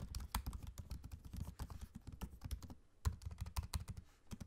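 Fingertips type fast on a MacBook-style laptop keyboard with low-profile plastic keycaps set in a space-grey aluminium body. A rapid, steady stream of short, dull taps carries a soft low thump, with a brief lull near the end before the typing resumes.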